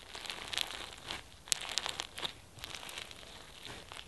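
Both hands press, knead and pull apart a pink floam slime filled with foam beads and flower sequins. Dense, bright crackling and crinkling pops from the beads fill the clip, with sharper snaps as the slime is pulled apart and almost no low end.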